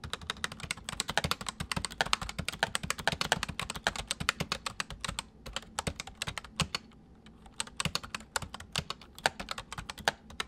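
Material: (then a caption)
Plastic. A full-size white plastic mechanical keyboard with white keycaps sits on a wooden desk; the left hand types on the main keys while the right hand taps the numpad with its fingertips. Rapid, bright, crisp clicks and clacks come in dense bursts with short pauses, each keystroke dying away almost instantly.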